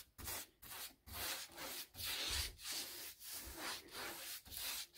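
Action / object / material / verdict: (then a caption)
scrape / molded composite six-panel interior door / composite / none. A paint brush held in the hand is scratched and rubbed across the panel edges of a white, textured, molded composite six-panel interior door, likely hollow-core, lying flat. Repeated brushing strokes make a dry, bristly, scratchy rubbing with a bright, high hiss, each stroke separated by a short quiet gap.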